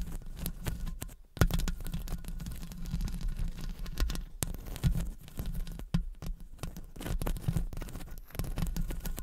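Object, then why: Metal mesh microphone grille. Both hands wrap around a hollow metal mesh microphone head while long acrylic nails scratch and tap the wire mesh. The result is a dense, muffled, low rumbling scrape, broken by quick, sharp taps and a few louder knocks.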